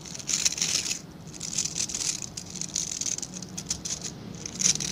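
Fingertips and nails scratch and rub across the dense dark synthetic bristle tips of a solid, hand-sized plastic-backed scrub brush held in both hands. The result is a bright, crisp, patter-like scratching and rustling that swells and fades in quick bursts, with almost no low end.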